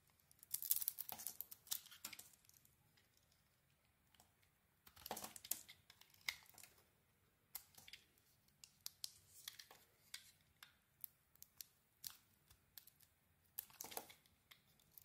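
A small metal blade carves a hand-sized solid soap bar with a dark brown coating and a white core, peeling off shavings while red-nailed fingers hold it. Crisp, bright scraping and crackling cuts come in quick bursts separated by short pauses, with heavier clusters near the start and middle. Each cut stops almost instantly.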